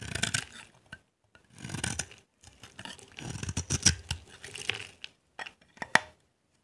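A solid, dry green bar of soap held in the hand is scraped and carved with a utility knife blade, shaving off dry, crumbly flakes. Irregular bursts of bright, gritty scratching and rasping alternate with short pauses and a few sharp, quick ticks as the blade catches.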